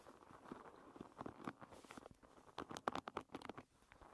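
Long red nails scratch and flick across the dense wooden pin tips of a paddle hairbrush. The result is a quiet, dry patter of quick clicks and rasps, busiest in the midrange with little low end, and each tick dies away instantly. Bursts of sharper flicks cluster in the second half.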